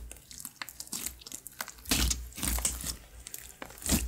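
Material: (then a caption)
Glue slime. Fingers and knuckles press into a glossy grey glue slime on a wood-grain table, then fold and pull it. This makes a quick run of wet, crackling squishes, with bright crisp pops over a soft low body.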